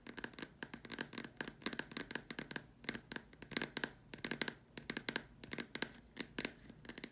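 Long nails tap and scratch around the sides and top opening of a large, empty, white hollow plastic dome lamp shade. The result is quick bursts of sharp, bright clicks with scratchy texture, very little low end, and almost no ring after each tap.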